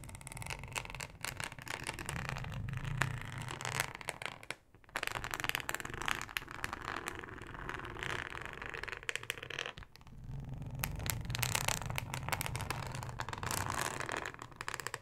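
Long acrylic nails scratch and tap a thin, flexible, solid yellow plastic cutting mat with a ribbed texture. The result is a dense, bright, crackling scrape over a low rumble, with brief quiet gaps near 5 and 10 seconds before the scratching resumes.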